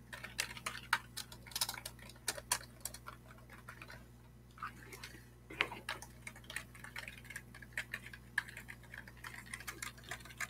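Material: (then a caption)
Plastic. A full-size black plastic computer keyboard with a hollow plastic body is held upright near a webcam and tapped and scratched with the fingertips of one hand. Quick, bright, clicky taps come in irregular bursts, mixed with softer scratchy rustles and a brief quieter stretch midway, all over a faint steady low hum.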